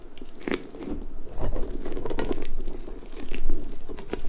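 A large, hollow, pink, stretchy rubber puffer ball with soft spikes is squeezed and stretched with long nails and fingertips, which scratch through the spikes. The result is an irregular stream of soft, crackly, crunchy scratches and rubbery rustles over a low muffled rumble, rising and falling in loudness.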